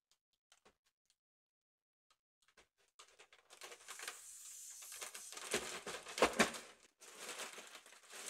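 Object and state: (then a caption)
Mylar foil balloon. A large, round, inflated holographic mylar foil balloon, hollow and air-filled and held in one hand, is tapped and scratched across its taut surface with long acrylic nails and a metal claw ring. Sparse, light taps and ticks in near silence give way to continuous, bright, crinkly scratching that grows louder. It peaks in a few sharper swipes, pauses briefly, then resumes.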